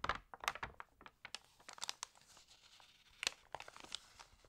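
A page of an open, water-damaged glossy paper magazine is lifted and flipped, making sharp, bright crinkling and crackling bursts. A palm then rubs across the pages with a softer, steady rustle before a few more crisp crinkles.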